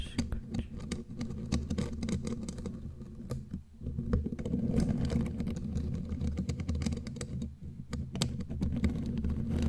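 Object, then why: Metal mesh microphone grille. Long, glittery claw nails tap and scratch across the bare black metal mesh grille of a studio microphone. The result is a dense, irregular patter of quick clicks and rough scrapes with a heavy, boomy low-end rumble. A brief dip in the middle breaks up the otherwise continuous texture.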